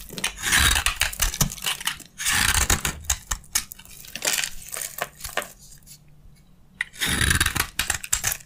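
A metal utility blade shaves crunchy curls off a narrow, carved, solid dry beige soap bar held in the hand. Bright, crackly scraping strokes come in dense bursts with short pauses between them, including a near-silent gap before a final loud run of crunching.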